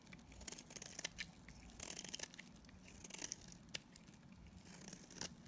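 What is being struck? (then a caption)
Bar of soap shaved with a blade. A utility knife blade scrapes and shaves flakes off a solid, dried yellow Dalan soap bar held in the hand. The sound is a quiet run of dry, crisp scraping and crackling bursts, bright and papery, with sharp peaks as flakes break away over a low, soft rumble.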